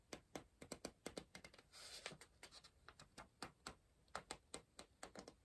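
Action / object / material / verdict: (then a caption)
tap / softcover paper puzzle book / paper / none. A pencil scratches and taps rapidly on a paper page of an open softcover word-search book, staying on the same spread. A quick series of sharp, dry, bright ticks is broken by a short, hissy scratching stroke in the middle, with each tap dying away almost instantly.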